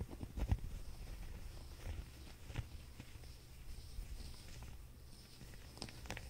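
A grey waffle or chenille-like knit sweater, lying on a fuzzy blanket, is held and folded in both hands while fingertips scratch and rub its knit texture. The result is a quiet, soft, low, muffled rustle with a few brief, sharper scratchy ticks that rise into brighter tones.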